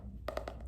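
Fingertips tap the neon green and pink hardcover of the book *Diversity of Aesthetics*, producing quick, soft, hollow knocks with a woody tone near 600 Hz that fade fast over a low background hum. The cover sounds more hollow than that of the book *Lend & Rule*.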